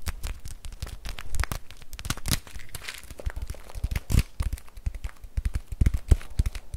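A full plastic bag of rice is held and squeezed with fingertips, crinkling the plastic. A steady run of short, dry crinkles and crackles overlaps soft, low thuds, each sound stopping almost instantly with no ring.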